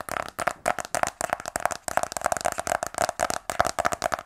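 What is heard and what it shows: A closed, small black rigid cardboard iPhone 12 Pro box, held in both hands, is tapped rapidly with fingernails. The taps are quick, dry clicks with a hollow tone around 700 Hz, little low end, and almost no ring.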